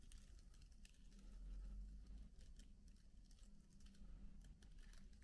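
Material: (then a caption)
Plastic. Both hands type steadily with their fingertips on a MacBook keyboard with black plastic keycaps. The result is a quiet, uneven patter of soft, bright key clicks over a constant low hum.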